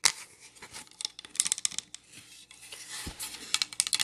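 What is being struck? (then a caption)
Pine wood plank sign. Long nails tap and scratch a solid pine plank sign, held upright and then laid flat. Bright, crisp clicks and dry scraping follow one another in quick, uneven bursts with almost no ring, thin in the low end.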